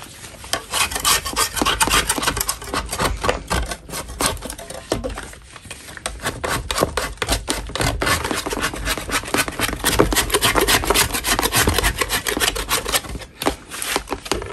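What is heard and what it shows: A solid block of natural chalk is scraped along its side with a metal putty knife. The clip is a steady run of dry, gritty rasping strokes, fast and uneven, with a brief quieter pause in the middle and another near the end.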